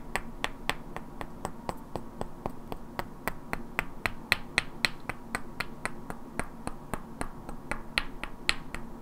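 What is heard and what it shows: Two identical hand-sized solid wooden cubes with black painted characters are held in both hands and knocked and clicked against each other, while long natural nails also tap their edges. About 34 sharp, dry clicks come at an uneven, steady-ish pace, each dying away almost instantly with a bright woody snap centered near 1.9 kHz. A low, constant hum sits underneath.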